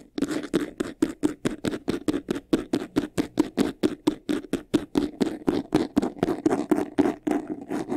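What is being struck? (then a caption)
Faux leather jewelry box. Fingernails rapidly scratch the top edge and side panel of a closed, hollow, medium-sized white textured faux-leather jewelry box. About 35 quick, evenly paced rasping strokes run in a steady rhythm. Each stroke is a short burst of bright scratchy noise over a hollow midrange tone around 290 Hz.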